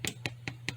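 A keto bread bun, turned over after about 40 minutes in a 350-degree oven, is tapped four times on its base, giving short, dry, hollow knocks over a steady low hum. The hollow sound shows the bun is done; three buns came out, and three went back in for five more minutes to be safe.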